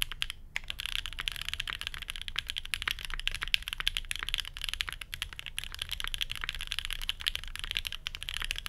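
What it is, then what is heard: Mechanical keyboard typing, aluminium plate. A full-size grey and beige Geonworks F1-8X mechanical keyboard with a hollow case, plastic keycaps, a 2 mm aluminium plate, Banana Split switches and no dampening rests on a desk mat. Both hands type steadily on it with their fingertips. The result is a fast, continuous stream of sharp, bright clacks centred around 2.7 kHz, with very short decay over a low background rumble.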